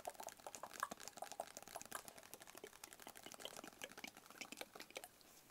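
A small, hollow, rigid black cardboard box held in the hands is tapped with fingertips and nails. The result is a quiet, steady flurry of quick, light, dry clicks and taps. Each one dies away almost instantly, with a crisp mid-to-bright tone and almost no low end.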